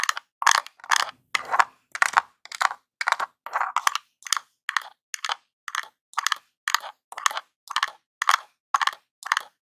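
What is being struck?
Small hollow plastic game controller scratched and tapped with a metal nail.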